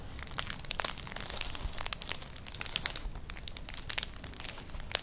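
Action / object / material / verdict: scrape / woven straw clutch bag / straw / none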